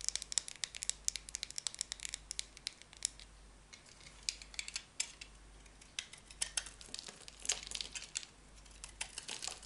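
A small, solid rectangular bar of dry cream soap is held in the hand while long painted nails tap it and a metal utility knife blade scrapes and shaves it. Many short, crisp, bright crackling scrapes and ticks follow one another over a quiet background. Each one cuts off instantly with no ring.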